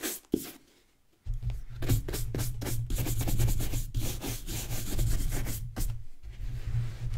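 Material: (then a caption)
Leather. A hollow, empty brown leather ankle boot is held by hand while its leather upper is scrubbed with a wooden-backed natural bristle brush. After a short opening stroke and a near-silent pause, quick back-and-forth strokes set in as a steady, bright, scratchy rasping over a dull low rumble.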